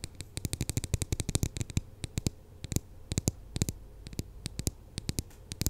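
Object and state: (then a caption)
Foam squishy toy tapped with nails. A large, glossy purple narwhal squishy made of soft polyurethane foam, with a solid foam body and a gold horn, is held beside the microphone and tapped and scratched with long acrylic nails. About 36 sharp, crisp clicks come in quick, irregular bursts over a low, muffled rumble. Each tap dies away almost instantly.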